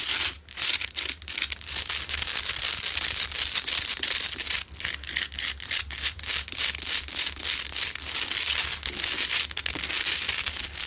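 Long nails scratch aggressively across the sides and top of a lit, medium, solid, rough Himalayan salt rock lamp. The result is a dense, continuous stream of bright, gritty rasping and crackling scrapes with almost no low end. Only brief dips break the steady scratching.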